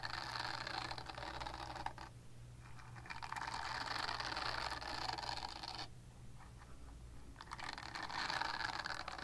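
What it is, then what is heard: Silicone body scrubber being scratched. Long nails scratch and scrape across a purple silicone body scrubber, making dense, bright, crackly rasping concentrated around 1 kHz and higher. The scratching comes in three sustained bursts separated by brief quieter pauses, over a steady low hum.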